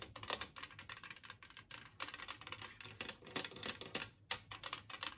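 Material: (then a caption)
Ceramic. Long painted nails tap and scratch across a large, flat, empty green glazed ceramic serving plate shaped like a Christmas tree, which is lying on a wooden table. The sound is a fast, dense run of bright, clicky taps and scrapes with very short ring. Brief pauses break up the stream.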